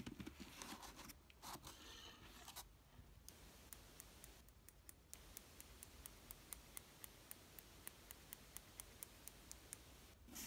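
A fingertip scratches and taps the top of a large, closed, hollow corrugated cardboard box patched with packing tape and lying on bubble wrap. It opens with a few seconds of dry, bright scratching and rustling, then settles into a steady, evenly spaced run of sharp, light ticks that end almost instantly, over a quiet, low background.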